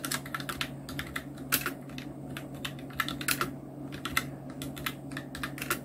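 Continuous two-handed fingertip typing on a full-size black Nubwo Illution NK-70 mechanical keyboard with Outemu red switches, round plastic keycaps and blue backlight. Rapid, bright plastic clacks come in quick succession, some strokes sharper and louder than others, over a steady low hum.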